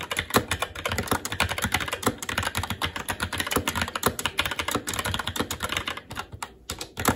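Fingertips of both hands type continuously and quickly on a SteelSeries Apex 7 TKL mechanical keyboard with plastic keycaps on a metal top plate and Red linear switches. The dense, rapid clacks are bright and short, with a brief lull near the six-second mark before the typing picks back up.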